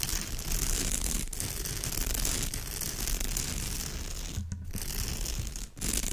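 Long fingernails quickly scratch the surface of a woven straw bag. The scratching is dense and continuous, a rough, crinkly rasp with bright hiss over a heavy low rumble. It holds a steady level for about six seconds, with brief dips near the end.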